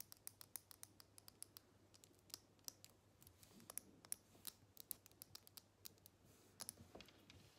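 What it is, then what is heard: Glass perfume bottle tapped with nails. Long nails tap and scratch a square glass perfume bottle, partly full, that is held in the hands. Quiet, bright, sharp clicks come at an uneven pace with faint scratching between them, each tap dying away at once over a low steady hum.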